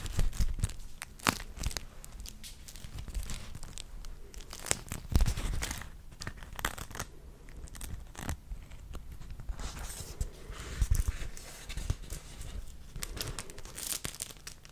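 A purple beeswax food wrap, a wax-coated cloth sheet, is held in the hands while fingers rub, crinkle and fold it. The result is a continuous stream of crisp crackles and tearing-like rustles with many quick, sharp crinkles. Low thumps from the handling run underneath, and a brighter hiss rises as the sheet is worked.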